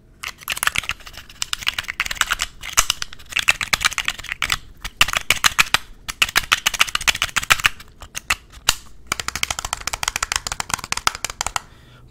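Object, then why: Glass perfume bottle with metal cap. A palm-sized clear glass perfume bottle, partly filled with liquid, with a white and silver sleeve with a red stripe and a metal cap, is tapped with fingernails while being turned in the hands. Bursts of rapid, bright, clicky taps come in quick runs separated by brief pauses, each tap short and dry with almost no ring.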